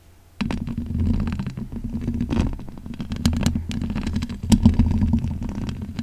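Long pink acrylic nails scratch with both hands across the bare black hollow metal mesh grille of a large condenser microphone. After a brief quiet start, a continuous low, rumbling scratch sets in, dotted with sharp bright ticks and louder scraping bursts near the end.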